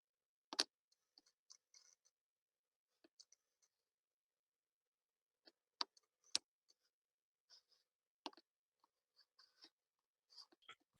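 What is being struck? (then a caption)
Wooden table. A wooden table is knocked on to illustrate wood, the product of secondary growth in plants. Sharp, dry knocks ring out in scattered clusters with a bright, clicky character and almost no ring, separated by quiet stretches with faint ticks.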